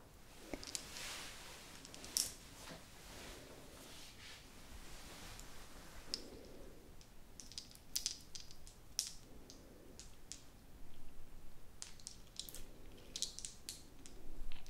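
A small hollow blue plastic pen topped with a cluster of colourful plastic balls is held in both hands and clicked, tapped and scratched with long acrylic nails. The result is a quiet, steady stream of sharp, bright plastic clicks and taps over soft, hissy scratching, each click dying away almost instantly.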